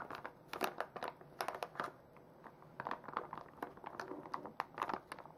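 A full, hand-sized soft plastic foil pouch of makeup remover wipes is held in both hands and squeezed and crinkled with fingers and long nails. Quiet, crisp crinkles and crackles come in uneven bursts with brief pauses, centered in the midrange with bright, sharp edges and almost no low end.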